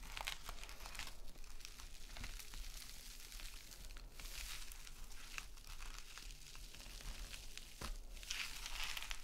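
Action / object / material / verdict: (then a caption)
scrape / metallic knit mesh scouring pad / metal mesh / none. A small gold metallic knit mesh scrub sponge is held and squeezed while long nails scratch across it. The result is a steady stream of bright, crinkly, scratchy rustling with short crunchy bursts over a low, constant hum.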